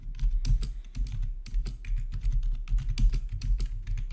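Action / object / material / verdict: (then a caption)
tap / plastic computer keyboard / plastic / none. Fingertips type steadily on a full-size black plastic RGB backlit gaming keyboard with a hollow housing, resting on a marble surface. Quick, overlapping keystrokes each give a short bright click over a deep, hollow thump, and every one dies away almost at once.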